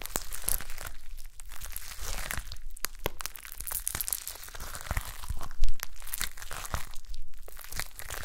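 A soft, solid blob of shiny gold glitter slime on a white table is pressed and poked with long manicured nails and fingertips. It makes a steady run of wet, crinkly crackles and sticky pops over a low rumble, with one louder squelch partway through.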